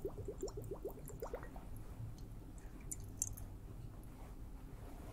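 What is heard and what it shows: A liquid-filled water hourglass is tapped. A quick run of short, rising bubbly chirps fills the first second and a half over a steady low rumble, followed by a few faint, bright ticks and a quieter wet hiss.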